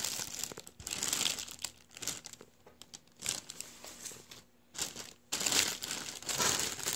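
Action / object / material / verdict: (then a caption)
scrape / mylar foil balloon / metallized film / none. A deflated blue metallized mylar star balloon, thin and empty, is pressed by fingers that crinkle its folds. The result is bright, high crackling that comes in irregular bursts with brief quiet gaps and surges louder near the end.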